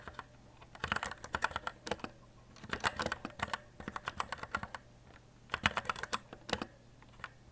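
Fingertips type on a white E-Element Z-88 RGB mechanical keyboard with plastic keycaps, producing rapid, crisp clicky keystrokes with a clacky tone around 1.5 kHz. The keystrokes come in three bursts separated by short pauses, each press dying away almost instantly over a faint low hum.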